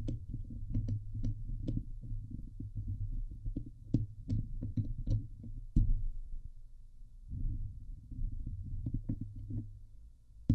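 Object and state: Metal mesh microphone grille being scratched.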